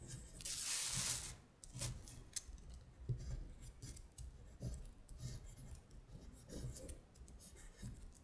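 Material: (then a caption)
Paper. Long stiletto acrylic nails trace the words on a thin printed paper worksheet of Korean colors lying flat on a glittery surface. A long, bright, papery scratch comes first, followed by a run of shorter, quieter scratching strokes over soft low thuds.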